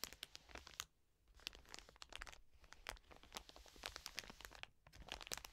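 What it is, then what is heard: Plastic wet wipes packet scratched with nails. Long nails scratch rapidly across the plastic film of a full, soft plastic wet wipes pack resting on a table. The result is a dense run of sharp, bright crinkling and scratching bursts with dry, clicky edges and almost no low end. There are brief quieter gaps near the one- and two-and-a-half-second marks.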